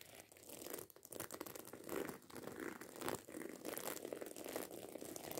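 Long acrylic nails scratch and tap fast over the rows of small metal studs on a hollow black fabric handbag. The result is a quiet, dense, crinkly scratching with rapid clicky taps that swell and dip in waves. Each tap dies away almost at once, with most of the sound in the low mids and only a little high-end sizzle.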